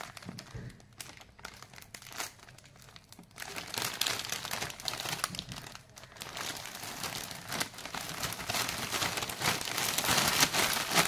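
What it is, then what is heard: Plastic snack wrapper bag. A large, full and sealed yellow printed plastic family pack of Britannia Toastea rusk is held in both hands with the fingertips and turned over from front to back. The plastic film gives dense, bright crinkling and rubbing, soft for the first few seconds and then louder, building toward the end.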